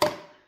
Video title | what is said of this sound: How to test if your canned bottle sealed | whenever your bottle sounds Hollow it means it has not sealed and it's not shelf stable